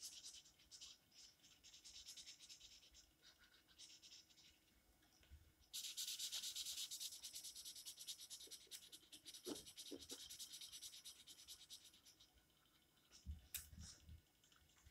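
An orange felt-tip marker is scribbled back and forth across the page of an open paper coloring book lying flat on a table, with quick coloring strokes. It makes a fast, bright, scratchy rubbing that comes in rapid bursts, swells louder and denser about midway, then thins out, with a few soft low bumps near the end.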